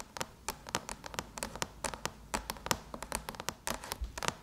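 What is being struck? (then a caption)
Aluminum laptop lid tapped with fingernails. Long chrome nails tap and lightly drum on a closed silver aluminum MacBook lid, a hollow shell, near the Apple logo. About twenty quick, dry clicks with bright edges ring out in an uneven rhythm, each dying away almost instantly with a thin metallic tone around 945 Hz.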